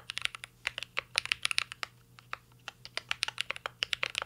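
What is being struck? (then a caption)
Mechanical keyboard with metal case and plastic keycaps. Fingertips of both hands type continuously on a mint green Cyberboard R3 mechanical keyboard with a metal case and plastic keycaps. About 25 sharp, bright, clacky keystrokes come in quick uneven bursts, each dying away almost instantly, with a brief lull midway.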